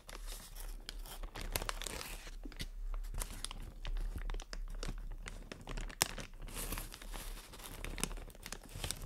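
Long nails tap, scratch and crinkle clear inflated plastic air pillows from air cushion packaging. A dense, bright crackle of crinkling and scratching runs throughout, with short sharp taps, one standing out near the six-second mark, over a faint steady low hum.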